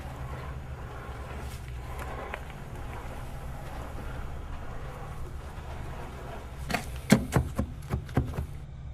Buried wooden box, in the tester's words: Por el sonido, yo creo que madera. Madera hueca